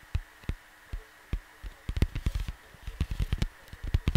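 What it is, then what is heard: Cardboard record sleeve. Fingertips tap on a large, flat cardboard vinyl record sleeve, and hands move across the cover. The soft, dull, low taps are short and come sparsely at first, then in quicker, denser bursts with light brushing between them. A faint steady hum sits underneath.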